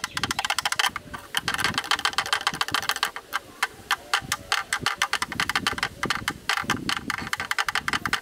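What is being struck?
Plastic camera lens hood.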